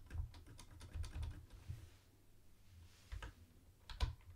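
Fingertips tap the space bar and then type with both hands on a mint-green plastic retro keyboard with round white plastic keycaps. A quick burst of soft, low, thuddy clacks fills the first second and a half, followed by a few separate, heavier taps with quiet gaps between them. Each keystroke is short and dry, with little ring.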